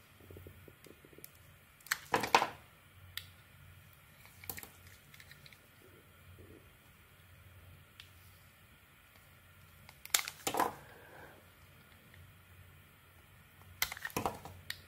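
A handheld, solid oval soap bar with a red textured outer layer and a white interior is peeled and shaved with a utility knife blade. Short, crisp scraping bursts of the blade cutting through the soap come in a few separate clusters, over a quiet, steady low hum. The cuts are bright and dry, with no ringing after each stroke.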